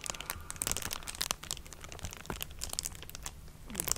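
A thin, flexible sheet of clear plastic bubble wrap is held up close and crinkled and scratched with long dark nails and fingertips. The result is a dense run of bright, crackly crinkles and sharp scratchy ticks over a faint low hum, swelling louder at the very end.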